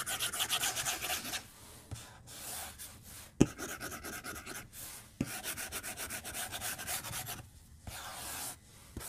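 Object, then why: Plastic stylus on glass tablet screen. A white plastic stylus is drawn and scratched along a glass tablet touchscreen resting on a desk. It makes quick bursts of bright, hissy rubbing strokes in rapid rhythmic runs, separated by short pauses and a few sharp clicks where the tip taps the glass.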